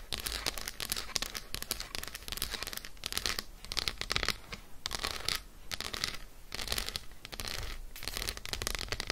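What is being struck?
Solid dark chocolate bar.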